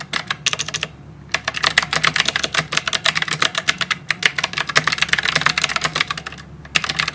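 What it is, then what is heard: Plastic mechanical keyboard with round keycaps. Both hands type rapidly with their fingertips on a full-size white mechanical keyboard with round plastic typewriter-style keycaps and RGB backlight, resting as a solid unit on a desk. Bright, clicky keystrokes come in fast, dense bursts, with short pauses in between. Each press is a sharp, crisp tap that dies away almost instantly, with very little low end.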